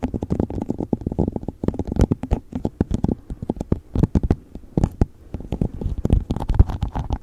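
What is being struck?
Plastic cup.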